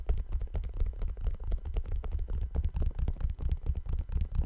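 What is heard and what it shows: A single empty brown suede low-top sneaker with white laces and a white rubber sole is held in both hands near the mic while painted fingertips tap its upper. The result is a steady stream of soft, hollow, deep thuds with short decays, with almost no bright content.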